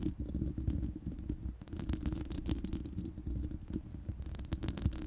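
Long manicured nails on both hands scratch and tap the uncovered, hollow round steel mesh grille of a large studio microphone. The sound is a dense, low, boomy rumble scattered with quick, sharp ticks and scrapes that flare brighter at moments.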